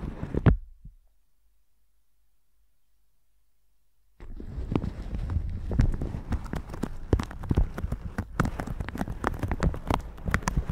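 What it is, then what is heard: Plastic shower cap. A plastic shower cap stretched over a microphone is tapped and brushed with a red silicone bristle brush. A brief crinkling tap opens the clip, followed by about three seconds of silence. Then comes a dense, continuous run of quick, low, thumpy taps and scratchy brushing crinkles.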